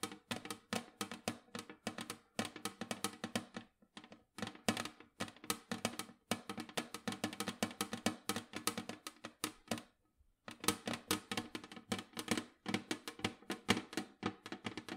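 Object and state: Metal cookie tin tapped with fingernails.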